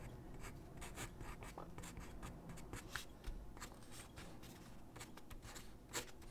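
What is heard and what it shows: A graphite pencil held in the hand scratches across a large white sheet of drawing paper lying flat on a wooden desk while sketching figure drawings. Quiet, steady, rasping pencil strokes come in quick bursts, with short bright streaks of scratch over a low, soft rumble.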